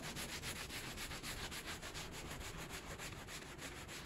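A gloved hand scrubs a small, soapy, bear-shaped pile rug lying on a plastic sheet with a white handheld brush. Quick back-and-forth strokes make a steady, rhythmic bristly rubbing with a bright, hissy texture over a low rumble, repeating at about three to four strokes per second without pause.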